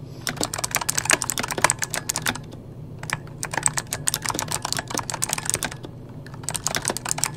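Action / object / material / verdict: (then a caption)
tap / mechanical computer keyboard with plastic keycaps / plastic / none. Fingertips of both hands type rapidly on a full-size backlit mechanical computer keyboard with plastic keycaps. The result is fast bursts of sharp, bright clicks and clacks, with brief pauses between bursts over a steady low hum.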